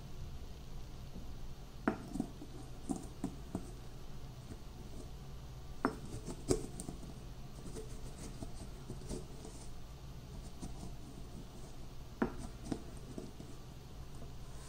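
Coarsely broken roasted peanuts are ground and pounded with a granite pestle in a granite mortar, one hand steadying the bowl. Crisp crunching of nut pieces against stone runs over a low, steady rumble, with sharp short knocks standing out now and then.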